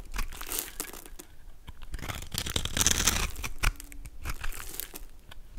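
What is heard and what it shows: A golden utility knife blade scrapes and carves small cubes and flakes off a solid, palm-sized purple soap bar with a pre-scored grid, held in the hand. Quick, irregular crisp scraping and crunching strokes with bright, crackly highs run throughout, with a short low tone near the middle.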